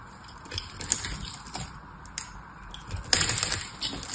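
A metal knife carves a dry, hand-held solid blue soap bar with a white and foil layer, sending blue chips falling. Crisp, bright scraping crunches and small ticks come through, with a louder, denser burst of cutting about three seconds in.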